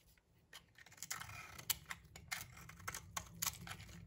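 A palm-sized, solid cream-white soap bar held in the hand is scraped and shaved with a metal utility knife blade, producing crumbly shavings. Dry, bright scraping and crunching strokes come in quick bursts over a faint low hum, each cut ending sharply with almost no ring.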